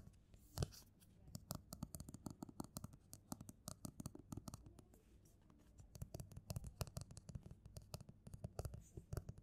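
Fingertips and nails rub, scratch and tap the glossy front cover of a closed paperback novel, "No Humans Involved," lying flat on a table. The sound is a quiet, steady stream of short, dry taps and scratchy strokes, heavy in the low end. It eases briefly in the middle before picking up again.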